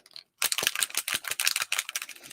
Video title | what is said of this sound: MLSS SEPTEMBER CHALLENGE COME CRAFT WITH TE!!! | as you shake it you can hear the little ball rattle and that is mixing up the pigment